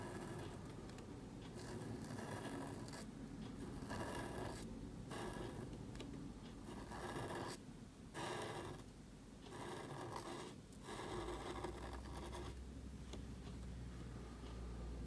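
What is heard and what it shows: A marker nib scratches across a small, thin black cardstock card held flat while writing. Bursts of dry scratchy friction come in strokes with brief quiet gaps between them, over a low steady hum.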